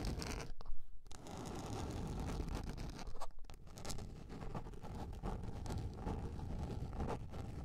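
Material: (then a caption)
Plastic. Long nails scratch and tap across a large round yellow plastic container lid, making a steady low, rough scraping texture broken by brief sharp clicks and quiet gaps.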